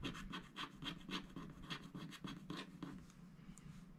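A wooden stylus scratches a koala motif into a black-coated scratch-art paper sticker sheet held flat by hand. Quick, dry, rasping strokes repeat at about three to four per second in a loose rhythm, each a bright scratchy burst with a faint low hum underneath. The strokes grow slightly softer toward the end.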